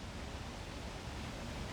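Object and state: Nothing is struck.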